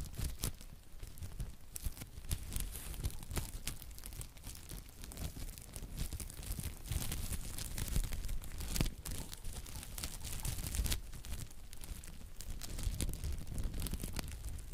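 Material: Plastic film.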